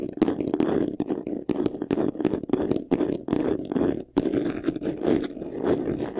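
Fingertips and short nails scratch fast across the front face of a medium white vanity case, a hollow box covered in textured faux leather. The result is a dense, rapid, raspy scratching with a warm, hollow midrange body, coming in quick bursts broken by brief pauses, including a short silence just past the four-second mark.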